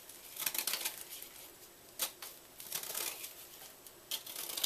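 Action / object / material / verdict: scrape / gym chalk block / chalk / none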